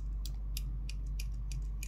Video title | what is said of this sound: 9x11 yumurta kesim Tespih, kırık imame, palafiren, d-20 Palamalzeme 1814 | Sesindeki çiğliği duyabilirsiniz. Yani diyor ki ben daha sertleşmedim. Ses veriyorum ama daha sertleşmedim. Çıtır çıtır ses çıkarmıyorum henüz diyor.